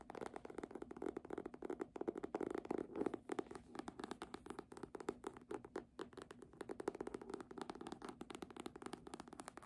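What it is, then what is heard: Hardcover book tapped with nails. A red embossed hardcover book, held upright, has its cover tapped rapidly with long nails. The result is a dense run of dry, short clicks with a hollow mid-range tone and no ring. The taps come in bursts, with busier, scratchier stretches in between.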